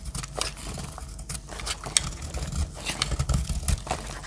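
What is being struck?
Soap bar scraped with a metal blade.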